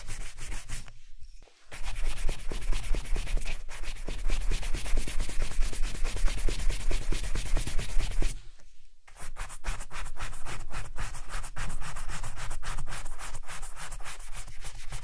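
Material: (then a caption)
Leather. A wooden-backed bristle brush briskly buffs the toe and side of a polished black leather Chelsea boot worn on a foot and held steady by one hand. The result is a fast, rough rubbing swish with a dull low undertone, in two long bursts separated by brief pauses near the start and midway.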